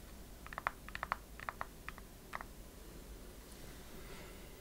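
A transparent plastic liquid-glitter phone case is tapped on its surface with long fingernails and turned in the hands. About ten short, dry, clicky taps come in an uneven burst over the first two and a half seconds, centered around 1 kHz with bright edges and almost no ring. A quiet low hiss follows for the rest of the clip.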